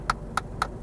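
A ring taps three times on the plastic around the glove box of a Kia Ceed Sportswagon, giving short, sharp clicks with a bright ring near 1.3 kHz that die away almost at once. The plastic sounds thin and cheap, and better quality is wanted there.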